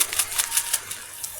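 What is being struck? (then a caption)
Plastic packet of cotton candy with popping-candy beads. A sealed Meiji packet of grape-flavoured cotton candy with popping-candy beads inside is handled. It gives a series of quick, bright, papery crackles and rustles that fade to a soft hiss, as the little balls inside crackle against the packet.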